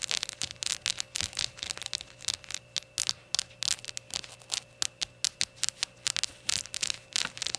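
Long nails rapidly scratch and tap over the glossy glaze of a small, hollow, rainbow-glazed ceramic shot glass standing on a towel. About 31 quick, bright, crisp clicks and scrapes come in uneven bursts, with almost no low end. Each stops dead with no ringing, over a faint steady background tone.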